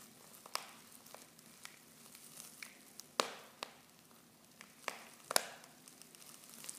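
Fingertips and long painted nails crinkle and squeeze a silver foil Pickwick tea pouch half full of loose tea leaves. About ten sharp, bright crackles and snaps rise over a soft, continuous rustle, each dying away almost instantly. The overall level stays quiet, with the crisp foil texture concentrated in the high range.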